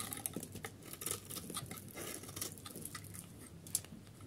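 A snap-off metal utility blade shaves thin curls from the edge of a solid yellow dry soap bar held in the hand. Quiet, dry scraping and crisp crackling strokes repeat in quick succession with bright, short edges, and a sharper click comes near the end.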